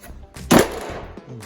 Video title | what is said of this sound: Finishing the rust repairs ✅ | It's kind of hard to tell, but it sounds like metal.